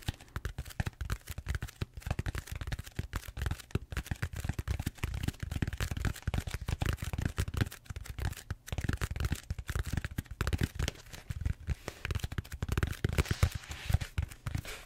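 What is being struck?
Bead-foam styrofoam roller.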